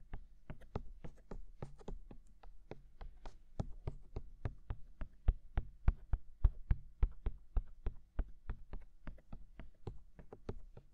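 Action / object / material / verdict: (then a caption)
tap / silicone ears of a binaural microphone / silicone / none. Fingertips tap on the white silicone ears of a black binaural microphone, producing a steady, loosely irregular stream of short, dull thumps. Each tap is deep and muffled, with a faint bright click on top and almost no ring. A quiet low hum runs beneath the tapping.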